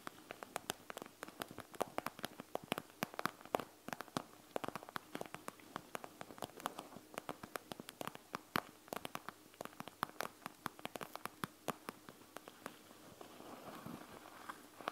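Long nails scratch and tap a panda gel bead eye mask, a clear plastic shell full of small gel beads, lying flat on a table. The result is a quiet, steady stream of crisp, bright clicks and ticks over a faint crackling rustle. Near the end it eases into a softer scratching hiss.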